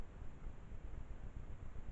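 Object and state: Nothing is struck.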